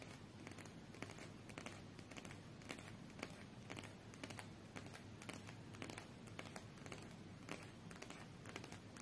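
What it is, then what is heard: Card deck scratched and tapped with nails. Long nails scratch and tap the edges and top card of a small, solid stack of coated paper UNO cards held in both hands. Quiet, dry scratching runs throughout, broken by irregular light clicks and taps with short, bright transients that die away quickly.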